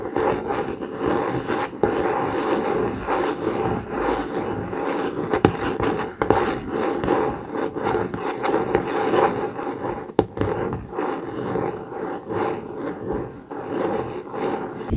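Short fingernails on both hands scratch the laminated cardboard cover of a blue COMIX hardcover notebook lying flat. The result is a steady, dry scraping rasp centred in the low midrange, punctuated by a few sharper scratches.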